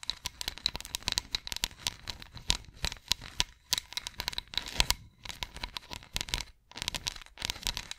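Fingernails scratch across the grooves of a solid, ridged wooden massage roller, making rapid, bright, dry clicking and rasping bursts. The scratches come in quick, uneven runs separated by brief pauses, and each click dies away almost instantly.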